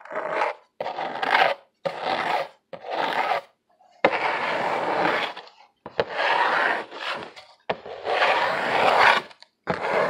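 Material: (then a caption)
Cardboard. Fingernails scratch along the ridged surface of a medium, hollow corrugated cardboard box held in both hands. Bursts of dry, raspy scraping come in uneven strokes separated by short pauses, with some longer sustained runs. The sound is mostly mid-range, with little low end and no lingering ring.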